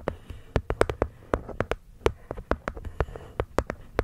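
Long nails tap and scratch the cork top panel of a small, hollow, hexagonal light-wood box, with the cork lid set over the mic. Nineteen quick, dry taps sound in an uneven rhythm, each a short hollow knock around 440 Hz that dies away almost at once. Faint scratchy rustles fill the gaps between taps.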